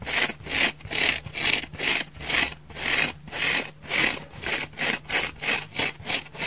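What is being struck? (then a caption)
Foam sponge scratched with fingernails. Long fingernails scratch across the face and thick side of a dry orange oval foam sponge held in both hands. The result is a rapid series of bright, hissy rasping strokes, each rising and fading in a steady back-and-forth rhythm.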